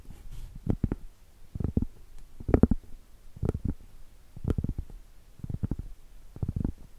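Long acrylic nail tips tap and scratch the surface of a flat, round, solid cork board. Quick clusters of soft, dull, low-pitched taps come in irregular bursts, with faint scratching between them and almost no bright ring.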